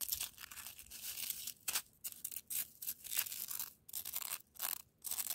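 A hand with long nails scratches and presses into a loose, crunchy pile of coarse-grained, granular frozen snow. The clip has dense, bright crunching and scraping bursts with almost no low end, broken by brief near-silent gaps.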